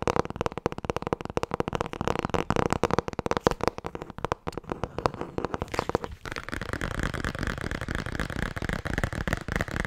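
Fast tapping on the hardcover book "Het boek met alle antwoorden" produces a rapid stream of short, dull, low-mid taps for about six seconds. The sound then shifts to a denser, steadier texture that continues to the end.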